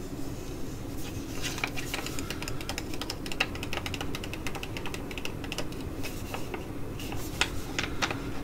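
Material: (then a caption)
Foil laminate. Long acrylic nails tap and scratch the front and back of a flat, sealed foil-laminate sheet mask pouch, white with Korean text and filled with a soft mask, while it is held in both hands and crinkled. Irregular, crisp, bright clicks and crackly scratches, some peaking near 2.5 kHz, sit over a steady low rumble throughout.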